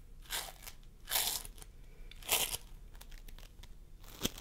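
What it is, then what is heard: Floam sculpting foam being squished. Fingertips of both hands press and squish a pastel mound of floam sculpting foam, made of polystyrene beads, on a wooden table. Bright, crunchy crackling bursts rise and fade, with four louder squishes standing out over a steady, faint beady crackle.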